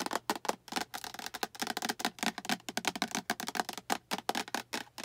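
Long acrylic nails tap and scratch the sides of a small, hollow, translucent green plastic storage box with a latch handle and diamond pattern. The result is a rapid run of light, dry clicks with a hollow mid-pitched tone and bright scratchy edges. Each tap dies away almost instantly.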